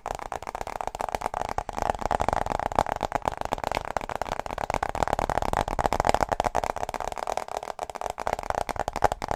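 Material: Aluminum.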